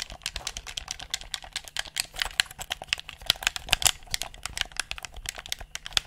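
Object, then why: Plastic game controller. Fingertips rapidly click the buttons and triggers of a handheld, hollow black plastic gamepad close to the mic. A fast, uneven stream of sharp, bright plastic clicks with very short decay, concentrated high around 3.5 kHz and almost no low end.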